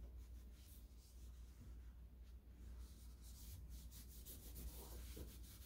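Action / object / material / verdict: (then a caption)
scrape / chrome-plated metal door lever handle / chrome-plated metal / none. A hand wraps a purple microfiber cloth around a solid chrome-plated metal lever handle with a round rose on a white interior door and rubs it back and forth to disinfect it. Soft, continuous cloth-on-metal rubbing and swishing sits over a steady low hum, with brighter swipes toward the end.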